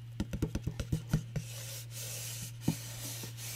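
Fingernails scratch and rub the glossy printed paper side of a small hollow cardboard gift box with a confetti pattern and red edge, held close to the mic. A quick run of short, dull scratchy strokes is followed by a softer, bright papery rubbing hiss and one more sharp scratch near the end, all over a steady low hum.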